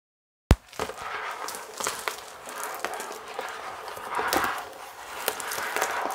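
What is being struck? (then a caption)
Cardboard box in plastic shrink wrap. A large, flat cardboard chocolate box, still sealed in clear plastic shrink wrap, is held up close while long acrylic nails and fingertips tap, scratch and crinkle the plastic film over its surface. A sharp tap opens the clip, followed by steady, bright, crackly crinkling and scratching with short, crisp taps scattered through it.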